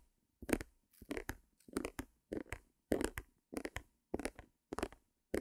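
Long nails tap and scratch the surface of a small white stretched canvas on a wooden frame, held close to the mic. A steady series of short, dry bursts of scratchy, papery tapping follows, each with a low-mid body and a bright crackly edge. The bursts stop almost instantly, with silence between them.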